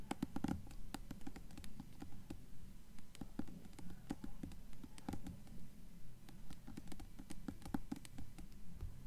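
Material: Paper, cardboard.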